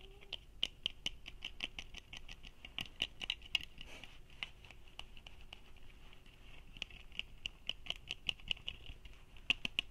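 Fingertips and nails tap and scratch the frame and lenses of small red plastic sunglasses held in both hands in front of the chest. The result is a dense, quiet patter of sharp, bright plastic clicks that die away almost instantly, with soft scratching between them.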